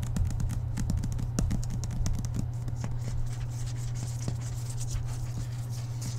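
Fingertips and nails tap and lightly scratch the glossy card cover of a thick paperback book lying flat on a table, the hand held close to the microphone. Soft, dull taps and brief dry scratches patter over the solid block of paper, above a steady low hum throughout.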